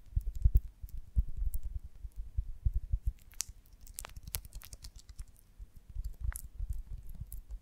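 A rounded golden beeswax honeycomb on a branch is held in one hand while the long nails of the other hand scratch and tap its wax cells. Soft, dull, low thuds and scratches patter at an irregular pace, with a few brief bright clicks over a quiet background.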